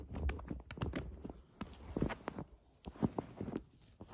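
Long acrylic nails scratch and press the surface of a large, soft, stuffed polyester plush frog toy. The result is a quick, irregular run of soft, muffled thumps and dull fabric scratches, mostly low with faint brighter hiss.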